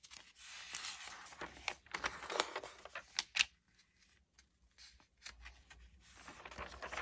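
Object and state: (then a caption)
Glossy paper magazine pages. Fingertips with dark-painted nails lift, turn, crinkle and rub the thin glossy pages of an open Allure March 2022 magazine lying on a wooden table. Bright, crisp paper swishes and crackles come in quick bursts, peaking with a few sharp snaps before a quieter stretch of soft rustling that builds again at the end.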